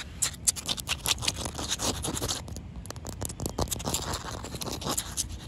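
Short white-painted fingernail tips scratch across a large, solid, partly wet outdoor concrete slab. Quick, bright, gritty scrapes come in rapid bursts with a brief pause partway through. Each stroke stops dry with almost no ring.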